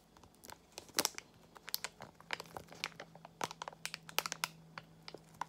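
A small Extra gum pouch made of foil-lined plastic is squeezed and crinkled with fingertips and long nails. The result is a quiet run of sharp, bright crinkles and crackles that stop almost instantly, over a faint steady low hum.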